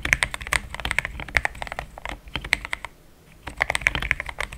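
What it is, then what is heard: Plastic mechanical keyboard. Fingertips of both hands type steadily on a compact pink-and-cream plastic mechanical keyboard with thick XDA-profile keycaps, Gateron Yellow switches and a polycarbonate plate, sitting on a desk mat. Rapid, short, clacky keystrokes centered around 2 kHz, with bright upper edges, run in quick bursts. The typing pauses briefly near the middle, then resumes at the same pace.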